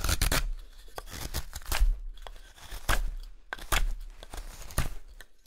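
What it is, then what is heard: Wooden spoon blank being whittled. A small carving knife whittles along the neck and handle of a pale solid wood spoon blank held in one hand, scraping off wood shavings. Quick, dry scraping cuts come in short, bright bursts with a low thump beneath, each fading almost at once. Brief quiet gaps fall between the strokes.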